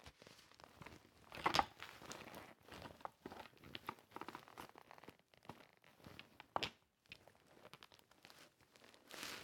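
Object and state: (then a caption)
Sequin-covered fabric pouch. Long red-painted nails scratch and rub across a flat padded zip pouch or laptop sleeve covered in dark and gold plastic sequins, hollow and seemingly empty, lying on a holographic surface, heard up close. A quiet, dry stream of crinkly scratching and tiny ticking clicks runs throughout, with sharper rasping bursts near 1.5 and 6.6 seconds and a brighter rubbing swell at the end.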